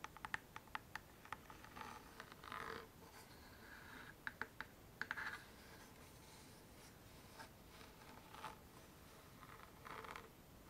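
A small hollow chest-shaped wooden box, covered in brown monogram-patterned faux leather with a metal clasp, is held in both hands and tapped and scratched with long manicured nails and fingertips. Sharp, dry nail clicks come in quick clusters near the start and again around the middle, with short scratchy rubbing bursts in between and near the end. The sounds are quiet, bright and crisp, with a faint ring around 1.8 kHz.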